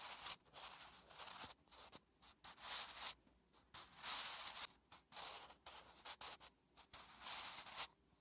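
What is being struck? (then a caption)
Graphite pencil on a paper notebook page. A wooden graphite pencil held in the fingertips writes Korean letters on a thin lined notebook page lying on a flat surface. The graphite scratches and rubs across the paper in short, bright, hissy strokes separated by brief pauses, with almost no low end.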